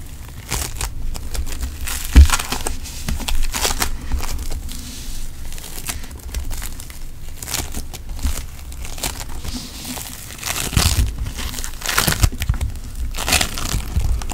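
A handful of pink floam putty, a solid soft lump of polystyrene foam beads in putty, is squeezed and rubbed between fingertips and palm. It makes a steady stream of dense crinkling and crackling pops over a heavy low rumble, with a louder squeeze near the start and more bursts toward the end.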